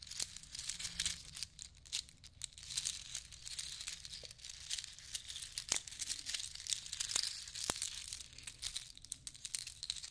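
A long necklace of small natural shells strung on cord is rummaged through by hand and left to dangle. The shells clink and rattle against each other in a dense, steady stream of bright, crisp clicks with almost no ring.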